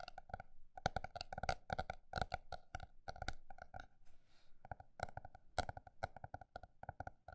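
A paper notebook is tapped with quick, dry, hollow taps, some in fast flurries and some spaced slower. Each tap has a mid-pitched knock around 750 Hz with some low thump, stops almost instantly, and is heard close up. Around the four-second mark the taps briefly give way to a faint, soft scratchy rustle before the tapping resumes.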